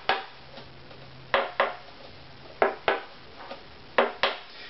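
Seven short, bright taps, several in close pairs, are struck across a wooden violin bridge, each a dry knock that dies away quickly. The bridge's tap tone is too low compared to the violin's back, estimated at about 196.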